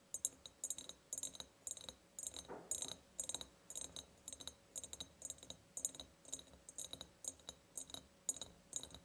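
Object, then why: Ribbed glass jar. Long painted nails tap and scratch the ribbed sides of a large, empty glass jar. Quick, bright clicks come in uneven bursts with a scratchy, high-pitched texture and almost no ring or low end.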